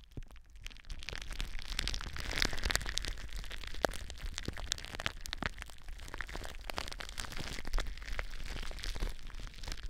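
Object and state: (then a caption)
Plastic bubble wrap. Long blue nails scratch and squeeze clear plastic bubble wrap stretched over a microphone. The result is a steady stream of dense crackling and crinkling, dotted with sharp, short snaps over a low rumble.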